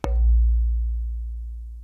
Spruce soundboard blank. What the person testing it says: has the most beautiful sound development